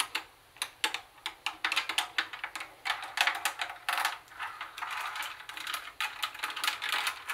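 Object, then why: Plastic cassette boombox casing. Long nails tap and scratch across the front of a grey plastic CD cassette boombox, over its cassette buttons and speaker grille. Crisp, bright plastic clicks come in quick, uneven bursts, blending into scratchy rustling with no low end. Each tap dies away almost at once.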